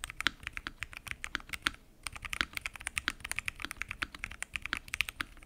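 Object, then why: Mechanical keyboard with plastic keycaps in an acrylic case. Fingertips type continuously on a full-size mechanical keyboard with lubed switches, pink and mint PBT keycaps, and a transparent acrylic case. A steady stream of short, crisp, bright clacks sounds with almost no ring and little low end, with a brief pause near the two-second mark.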